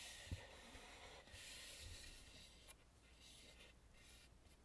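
Fingertips and nails rub and scratch across the carved face of a red lacquered, hollow, painted wooden mask. The result is a soft, continuous rasping hiss with bright high-end texture over low, dull thumps.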